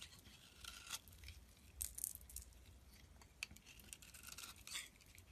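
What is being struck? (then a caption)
Bar of soap scraped with a knife blade. A utility knife blade scrapes and shaves the surface of a solid pink soap bar held in the hand, producing flakes. Quiet, bright, crisp scraping strokes come in short bursts with sharper rasps near the middle and end, over a faint low rumble.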